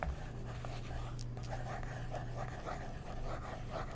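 A wooden stick traces along a figure printed on the semi-gloss pages of an open magazine, while fingertips with short nails hold the page. The result is a soft, steady scratching with faint rhythmic strokes over a constant low hum.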